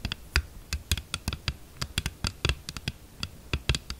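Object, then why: Hard plastic phone case. Long nails on both hands tap quickly on the back of a thin, hollow, glossy red hard plastic phone case lying flat on a table. About twenty short, dry clicks come in an uneven rhythm, each with a bright tick over a soft low knock and almost no ring.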